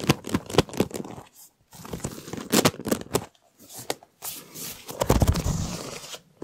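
Fingertips tap and scratch the ribbed surface of a large, hollow, empty white flexible plastic duct tube held in the hand. Quick dry taps and raspy, crinkly scrapes come in uneven bursts separated by brief silences. Each sound dies away at once with no ring.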